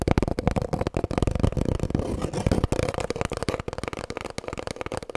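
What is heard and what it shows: Long fingernails tap rapidly on an empty, hollow cardboard kitchen roll tube held horizontally. The result is a fast, steady patter of dull, hollow thuds, mostly low in tone with a faint mid-range resonance. Each tap dies away almost instantly.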